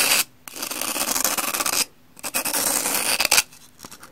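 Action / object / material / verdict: scrape / pumice stone block / pumice / none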